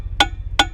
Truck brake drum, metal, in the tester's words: Kind of hear that hollow sound, then you know they're freed up.